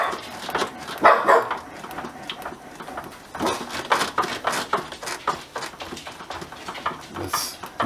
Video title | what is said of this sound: Washing Machine Repair Front Load Thumps While Spinning | you can hear the noise that was knocking on the spin cycle